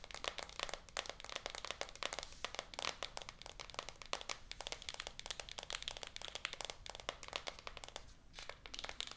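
Long acrylic nails rapidly tap and scratch the back of a full, shrink-wrapped small rigid cardboard iPhone 14 Pro 256 box lying flat. The result is a dense stream of sharp, bright, crinkly clicks with very short decay and light plastic scratching in between.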